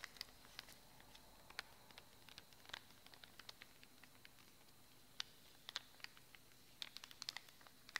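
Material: Cardboard.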